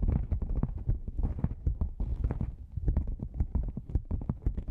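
A black padded nylon lens pouch, a hollow cylinder gripped from the sides, is tapped on its side panels with long nails and fingertips. Rapid, soft, muffled taps land in an uneven clip-clop rhythm, mostly low and dull with brief brighter clicks. Each tap dies away almost instantly.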